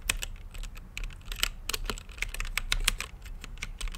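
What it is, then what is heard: Mechanical keyboard with plastic keycaps. Fingertips type on a green-lit mechanical keyboard with plastic keycaps in a clear acrylic case, producing a quick, uneven run of around twenty sharp, bright key clacks. Each keystroke is short and dry, with a steady low rumble underneath.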